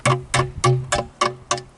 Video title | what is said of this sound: Maple Syrup Tapping with Mark Dye | it just it just stops it's the tap's sealed in there